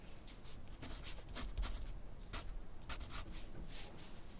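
A yellow wooden graphite pencil writes continuously on a thin grid paper sheet on a white clipboard. Its tip makes bright, scratchy strokes in quick bursts over a steady low rumble.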